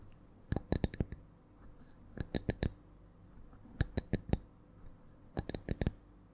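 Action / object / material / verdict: tap / thin wooden log slice / wood / none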